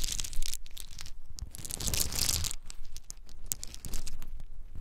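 Small, hard-shelled whole pine nuts still in their shells are cupped in both bare hands, shaken and poured between the palms, with some dropping onto a dark surface. A dense, continuous rattle of clicking and crackling shells fills the clip in brief, bright bursts, with a fuller, busier stretch in the middle.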